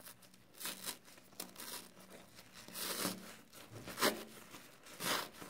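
Fingertips squeeze a soapy foam kitchen sponge and rub and scratch its green abrasive scouring pad. Soft wet crinkling runs throughout, broken by sharper, bright scratchy bursts that rise and fade at an uneven pace.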